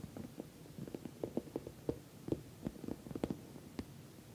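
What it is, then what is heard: Patent vinyl cosmetic bag tapped with nails. Long nails tap the top of a glossy orange patent vinyl cosmetic bag, soft-sided and filled, in about a dozen quick, irregular taps. Each tap is a short, soft, muffled thud centered low in the midrange with almost no high end, and none of them ring on.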